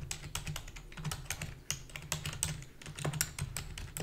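Rapid, continuous typing on a full-size black plastic computer keyboard with a hollow body, keys tapped with long fingernails and fingertips. Bright, sharp clicks come in an irregular, overlapping stream, over a steady low hum near 150 Hz.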